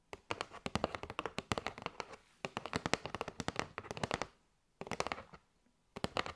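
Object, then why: Cardboard box filled with paper straws. Long nails tap and scratch a kraft cardboard box with a window, full of paper straws. Quick, dry, crisp taps come in dense bursts with short pauses between them, each tap dying away almost at once.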